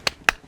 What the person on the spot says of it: Oh, it's solid. It hurts to hit it.